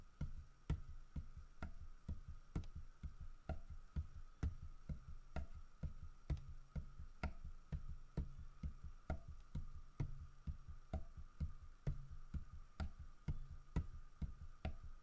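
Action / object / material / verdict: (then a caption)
tap / carved wooden bear statue / wood / none. Fingertips tap steadily on the body of a large, solid carved wooden bear statue, about 32 quick taps over 15 seconds at roughly two per second. Each tap is a short, dull, low knock that dies away almost at once, over a faint steady hum in the background.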